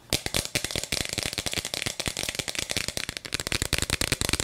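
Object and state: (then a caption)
Plastic bead-filled toy cup. A hollow plastic toy cup with a bead-filled chamber is held in both hands close to the mic while long nails tap and scratch its plastic sides quickly. A dense run of sharp, bright clicks and scratches comes through, with the beads giving a light rattle underneath.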